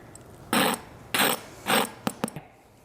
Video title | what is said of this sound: Ep. 6 Peach Cobbler - Cooking in Canada | listen to how crispy this is